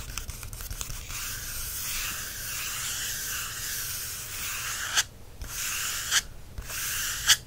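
Fingertips and nails scratch across the textured cover of a black matte paperback photography book held in hand, making a steady, bright, dry rubbing hiss. Near the end the scratching breaks off for three sharp taps on the cover, each with a short, crisp attack.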